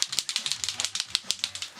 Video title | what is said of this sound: Live Abstract Painting with Marabu Products and David K. Austin | See your little ball in there? You guys hear that?